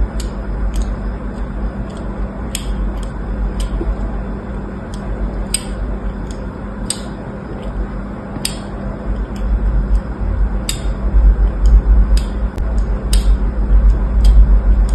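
A small blade scratches lines into the surface of a solid orange soap bar lying on a blue cloth, held in place by fingers. Short, bright, crisp scrapes come at an uneven pace over a steady low rumble. The background grows somewhat louder toward the end.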